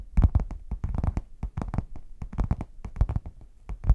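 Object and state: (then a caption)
Faux leather hard case. Long nails tap and scratch the printed front of a red padded faux leather zip case, which is hollow, closed and tilted. A rapid, uneven run of short, dull taps carries a deep low thump. Quick, bright scratchy edges ride on the taps and die away almost at once.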